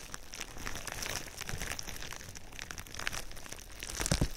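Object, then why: Plastic bubble wrap. Clear plastic bubble wrap laid over the microphone is squeezed, rubbed and scratched with fingers. It makes a steady stream of close, dense crinkling and crackling over a low rumbling handling noise, with a louder crunchy burst near the end.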